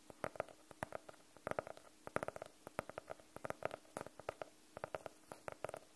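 Long nails tap the cover of a medium blue hardcover notebook, solid and closed, held in front of the mic. Quick, dry, irregular taps with a hollow midrange tone around 590 Hz stop almost instantly, with no ringing.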